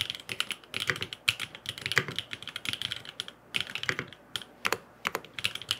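Fingertips type rapid taps on a grey aluminum FROG MINI mechanical keyboard with blue and purple plastic keycaps and no foam inside. About 32 short, dry clicks ring out in quick bursts with brief pauses, bright and clacky with little low end and almost no ring.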